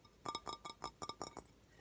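A handmade bowl, made by the speaker's sister at an art place during summer camp, is tapped quickly with a series of short, clinking taps. Each tap gives a bright, glassy ring centred around 1.2 kHz that dies away almost at once, with pauses between small clusters of hits.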